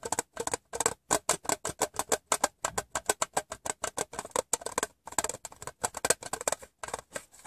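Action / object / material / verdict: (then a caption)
tap / small empty metal tin / thin metal / none. Fingertips and painted nails tap the rim and side of an empty, open, hollow rectangular printed metal Wrigley's gum tin, making about 38 quick, separate taps. Each tap is a short, dry, bright tinny click with almost no low end and virtually no ring, with a main pitch around 490 Hz.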